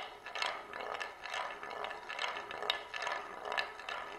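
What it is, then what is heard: Marble rolling on a wooden plate. A single glass marble rolls in circles around the rim groove of a shallow oval wooden plate held in both hands. It makes a steady rolling whir that swells and fades with each lap, about twice a second. The sound sits mostly in the mids and highs with bright little clicks and no low rumble.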